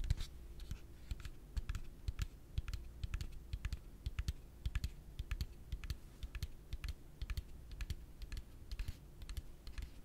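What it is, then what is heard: Plastic piggy bank. A yellow hollow plastic pig piggy bank is held in one hand and rapidly tapped with the fingertips and nails. The result is a quick, uneven stream of dozens of short, dull, hollow knocks with crisp clicky edges that die away almost instantly. A faint steady hum runs underneath.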